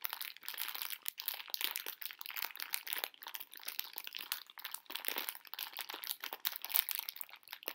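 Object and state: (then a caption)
Plastic candy bag full of hard sugar hearts. A medium pink plastic-film bag full of hard sugar conversation candy hearts is crinkled and squeezed with fingertips and long nails. Dense, bright crinkling and rapid crackles run continuously with almost no low end, as the candies shift and crunch inside the film.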